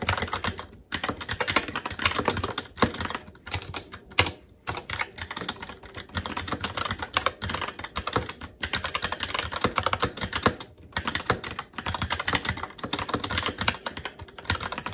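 Both hands' fingertips type continuously on a SteelSeries Apex 7 TKL mechanical keyboard with Red switches, black plastic keycaps on a metal plate and a hollow RGB-backlit case, resting on a desk. A dense stream of short, bright plastic clacks with a low thocky undertone runs throughout, broken only by a few brief pauses.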